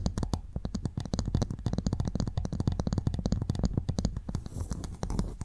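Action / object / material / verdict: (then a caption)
tap / clam shell / shell / none. A pearl clam's shell is tapped and scratched before the clam is opened for pearl extraction. The sound is a rapid, continuous run of short, dull, dry clicks that stay low and soft, with faint scratching between them.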